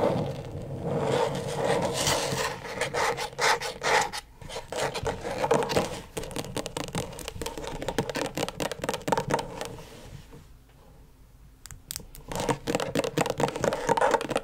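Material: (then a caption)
Plastic. Long stiletto nails scratch and tap rapidly across the plastic surface of a flat, thin, backlit rectangular LED tracing pad. The result is a dense, irregular stream of dry scraping strokes and short clicks centered in the midrange. It eases into a quieter lull near the end before the fast scratching resumes.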